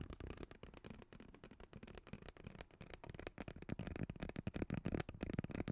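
Fingertips and nails scratch and squeeze a hollow, purple ribbed plastic pop tube, making a dense run of quick, crackly scratches and short clicks with a low, muffled body. The crinkling grows louder and fuller in the second half of the clip.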